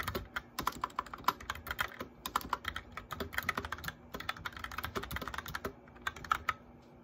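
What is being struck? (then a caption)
Plastic mechanical keyboard. Both hands' fingertips and nails tap the keys of a white plastic mechanical keyboard with backlit keycaps during continuous typing. A rapid, uneven run of sharp, short clicks and clacks follows, with bright, crisp tops and a faint steady hum underneath.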